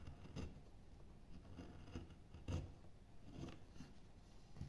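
A small metal knife cuts and scrapes shavings from a pale solid wood board, likely basswood, about 30 cm long and partly carved in relief, held by fingertips. Five soft, dry scraping cuts stand out at an uneven pace over a quiet, low rustling background. Each stroke is short and muffled, with brief bright edges and little ring.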